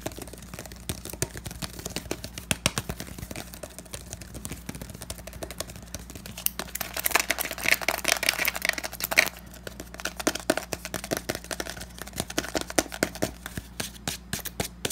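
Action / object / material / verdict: tap / plastic powder bottle / plastic / none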